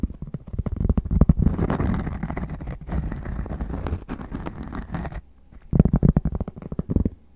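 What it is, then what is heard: Cork being tapped and scratched. Cork is tapped and scratched in close-up, giving rapid soft, low thuds layered with dense scratching that fades to a short quiet gap before another quick burst of taps.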